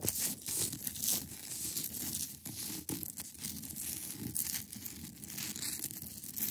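Long acrylic nails scratch across the top of a large, solid, clear ice block. The result is a continuous, dense, bright scratching and crackling texture with rough, tearing strokes that swell and fade.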